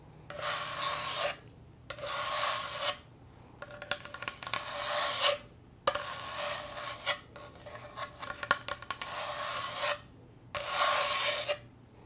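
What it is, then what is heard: Wooden cutting board. A wooden cutting board is scratched and tapped, producing a dry wooden rasp. Bursts of bright, hissy scratching alternate with short pauses, and the middle stretch is mixed with sharp little taps and clicks.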